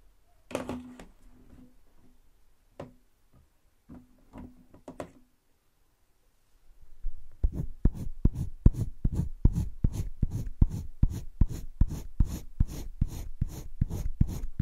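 A green wooden colored pencil is scratched in long strokes across thick cream drawing paper in a spiral sketchbook. A few sparse scratches come first, then after a pause a fast, steady run of rhythmic strokes, each a short, dry, low-heavy scrape with a faint papery hiss on top.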